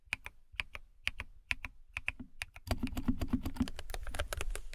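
Long nails type on a compact white plastic mechanical keyboard with a cat-shaped case, producing short, crisp key taps. Spaced clicks with a sharp tick near 2.5 kHz open the clip, then the typing speeds into a denser, louder run of taps with a low thud under a bright clatter.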